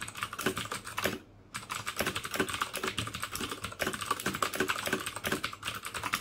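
Fingertips type rapidly on the hollow plastic keycaps of a full-size black plastic mechanical keyboard with clicky Cherry MX Blue switches and red backlight, resting on a desk beside an untouched mouse. A dense stream of sharp, bright clicks and clacks with very short decay runs throughout, broken only by a brief pause just after the first second.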